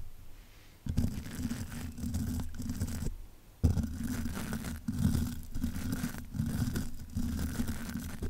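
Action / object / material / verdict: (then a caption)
scrape / metal mesh microphone grille / metal mesh / none. A plastic-bristled spoolie brush on a long handle, held in the fingers, scratches and brushes the hollow metal mesh grille of a large black metal condenser microphone (Blue Yeti style). After a quiet start, dense, rough bristly scraping begins, heavy in low rumbling tones around 82 Hz, and comes in sustained strokes. A clear pause falls near the three-second mark, followed by shorter dips between the later strokes.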